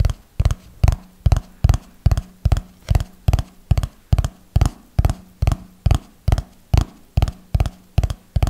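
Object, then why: Small notebook with paper pages. Fingertips and nails tap along the top edge and paper pages of a small red notebook held close to the mic. The result is 21 dull, low thuds in a steady rhythm of about 140 per minute, each dying away almost at once with little brightness.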